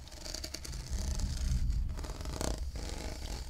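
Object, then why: Ribbed plastic tumbler. Fingernails scratch across a hollow, blue ribbed plastic cylindrical tumbler, making a quick run of raspy, clicking scrapes over the ridges. A low hum sits under the brighter scratching, and one sharper scrape stands out near the end.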